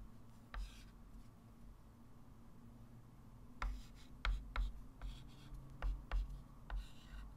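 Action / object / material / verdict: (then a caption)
scrape / chalk stick on a wood-framed chalkboard / chalk / none. A hand writes digits with a white chalk stick on a small, solid, flat wood-framed chalkboard. Eight short, sharp chalk taps and scratches are heard at irregular intervals, with bright ticks over a quiet, steady low hum.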